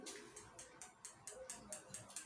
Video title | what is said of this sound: class-10th ka chemistry Hindi medium/पाठ-5(तत्वों का आवर्ती वर्गीकरण)part-Bihar boar NCERTby Sonisir | ton ton की आवाज आ रहा है ना